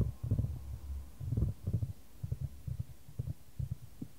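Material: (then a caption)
Wood. A solid, light wooden ball rolls around a shallow square wooden tray, held in white-gloved hands and tilted to keep the ball moving. The sound is a deep, muffled low rumble with soft thudding knocks as the ball meets the tray's edges, coming in irregular bursts with no bright content.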